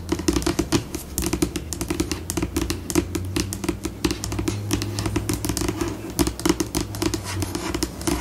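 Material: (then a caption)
Laminate. Long pointed pink nails tap and scratch a flat, solid white glossy laminated tabletop. Rapid, dense clicks and scratches come in bursts that speed up and slow down over a steady low hum. The taps are short, with no ring after them.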